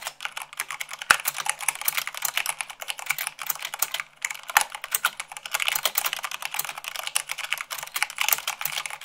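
Rapid typing with fingertips and long nails on a white plastic mechanical keyboard, at about 98 words per minute. It makes a dense stream of short, bright clacks with almost no low end. The keystrokes barely pause just after the fourth second.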